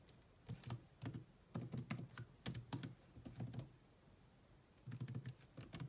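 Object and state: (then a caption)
Plastic laptop keyboard. Long manicured nails and fingertips rapidly tap the dark plastic chiclet keys of a grey laptop with a hollow body. The quick, clicky taps have a low, hollow thud beneath sharp, bright ticks. They come in bursts, with a quieter pause around the four-second mark before the typing resumes.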